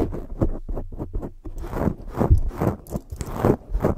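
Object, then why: Foam microphone windscreen. Cupped hands with long nails rub and scratch a black foam microphone windscreen, producing close, muffled scraping and scratching bursts. The rustle is heavy in the low end, with short bursts and a couple of brighter scratchy swipes.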